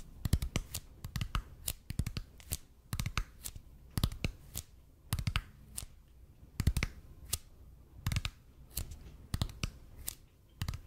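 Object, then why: Expanded polypropylene foam roller. Fingertips tap and scratch the surface of a red and white speckled expanded polypropylene (EPP) foam roller held in both hands. The result is a slow, irregular run of soft, dull thumps, mostly low in weight, each dying away almost instantly, with light scratchy rustles in between.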